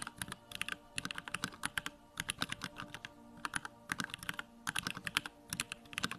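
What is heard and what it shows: Fingertips type rapidly on a Bakeneko65, a small 65% mechanical keyboard with Durock Lavender switches, a plastic case and white plastic keycaps, with its backlight on. Quick bursts of short, bright, clacky keystrokes come in runs separated by brief pauses, and each click dies away almost instantly.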